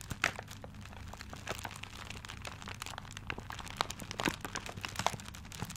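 A paper-wrapped gift is held close to the mic while fingertips scratch and crinkle the paper. The result is a dense run of soft crackling and crinkling, with a few sharper bright snaps standing out over a faint steady low hum.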